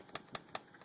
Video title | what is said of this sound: The STRIKER knife going to a new home | there's a very very slight rattle because I'm shaking it hard it's very slight Rattle